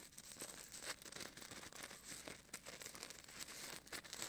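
Fingertips rub and scratch a small, solid white styrofoam ball about the size of a golf ball, held in the right hand beside a binaural mic. The result is a quiet, continuous crinkly, squeaky texture, mostly bright and high with little low end, rising into short sharper scrapes.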